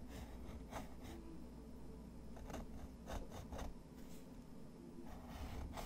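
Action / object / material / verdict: scrape / pen nib on textured paper / paper / none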